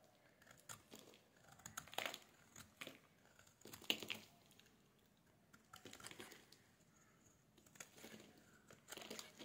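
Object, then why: Bar of soap. A metal blade shaves the edge of a solid, dry, oval bar of pink soap held in the hands, producing crisp flakes. The scraping comes in quiet, irregular bursts of bright, papery crinkling, with short pauses between strokes and almost no low end.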